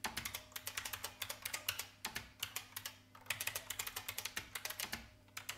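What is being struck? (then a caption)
Plastic mechanical keyboard. Fingertips with long red nails type rapidly with both hands on a large, hollow-bodied vintage beige IBM mechanical keyboard with plastic keycaps. About forty bright, sharp clacks come in quick bursts, each dying away almost instantly, with short pauses near 2, 3 and 5 seconds.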